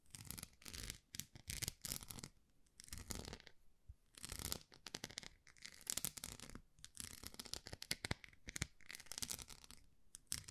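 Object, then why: Small plastic rice paddle with a bumpy face. Long nails scratch the bumps on the textured, dotted face of a small, solid white plastic rice paddle. Quiet bursts of dry, bright scratching come in quick runs separated by short pauses, each scrape stopping dead with no ring.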